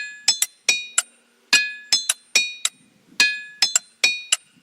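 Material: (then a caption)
Stone. Rocks in a boulder field are struck with a hammer in a quick, uneven rhythm of 14 strikes. Each strike rings with a bright, high metallic tone like steel or a bell instead of a thud. Each ring fades within a fraction of a second, and some researchers attribute the ringing to high iron content.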